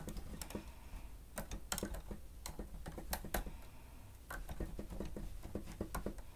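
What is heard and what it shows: Fingertips strike the grey plastic keys of a stenotype machine in fast chord typing, touching only the machine. Short, dry plastic clacks come in quick irregular bursts over a steady low hum, with a brief pause before the typing resumes.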